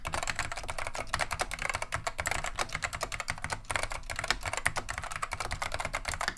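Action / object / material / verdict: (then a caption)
tap / plastic mechanical keyboard / plastic / none. Both hands type a steady, fast stream of fingertip key presses on a full-size beige plastic Wang 725 mechanical keyboard with Alps SKCM lime switches, resting on a wooden desk; the keyboard is solid and heavy. Each press gives a short, sharp, bright clack with a little low thud underneath and almost no ring. The presses overlap into a dense, even typing rattle.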